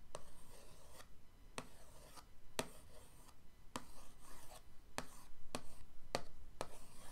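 The tip of an orange paintbrush handle traces lines over the lid of a flat printed cardboard paint-set box resting on a dark table. Soft, dry scratching and rubbing continue throughout, broken by eight sharp, bright ticks at uneven intervals.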